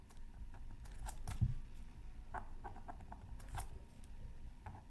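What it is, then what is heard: Scratch art paper being scratched. A pointed wooden stylus scratches across a thin black-coated scratch art card from a Mythical Creatures Super Scratch Art Pad while the other hand holds the card down. Quick, dry, crisp scratching strokes come in a fairly steady series over a low, soft rumble, with one slightly louder stroke early on.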